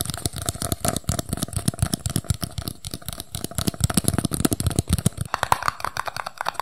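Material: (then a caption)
Paper. A small, empty, hollow red and white paper cup is held in both hands while its sides and base are tapped fast with fingertips and nails. A steady stream of short, dry taps with a hollow, papery knock comes through, mixed with light crinkling. The taps die away almost instantly, leaving no ring.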